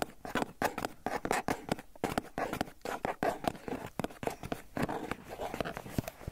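Fingertips and nails scratch and tap across the clear plastic lid of a hollow Philadelphia cream cheese tub held in one hand. A rapid, irregular series of dry clicks and scratchy swishes follows, each dying away almost instantly, with a hollow plasticky tone centered around 700 Hz.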